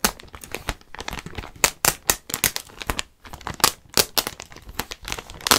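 Fingertips scratch and crinkle the surface of a clear plastic garment bag with a white label, holding a white knit sweater. The result is a run of quick, bright, dry crackles and rustles that vary in loudness and stop short, with almost no low end.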